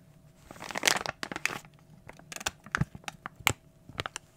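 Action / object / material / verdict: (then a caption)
scrape / plastic foil bag / plastic foil / none. An opened glossy plastic foil toy blind bag is crushed and crinkled in the hands. A dense rustle builds into a loud crunching burst, then breaks into a series of sharp, bright crackles and crinkles with quiet gaps between them.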